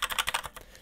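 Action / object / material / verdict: tap / full-size mechanical keyboard with linear switches / plastic / hollow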